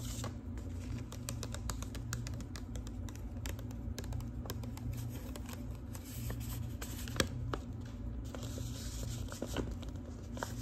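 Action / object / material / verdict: tap / manila paper envelope / paper / none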